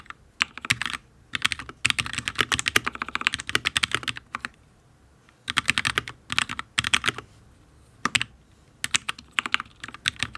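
A full-size HyperX Alloy Origins RGB mechanical keyboard with fire switches, ABS keycaps and a steel plate is typed on with the fingertips of both hands. Bursts of quick, bright, sharp clicks come in clusters separated by brief pauses, each tap dying away almost instantly.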